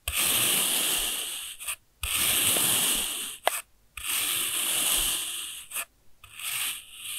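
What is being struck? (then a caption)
Packed kinetic sand cut with a steel knife. A steel kitchen knife slices through a solid pink block of packed kinetic sand that has already been cut into layered sheets. Each cut is a long, bright, dry scraping rasp with a fine grainy hiss, separated by brief silences as the blade is lifted.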